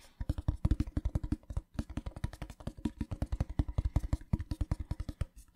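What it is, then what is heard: Metal tin box. A small, hollow, rectangular printed metal tin with a pattern is held in one hand and tapped with fingertips and nails. Dozens of quick, dry taps come in rapid, uneven bursts, each a deep, hollow thump that dies away almost at once, with a short pause near the middle.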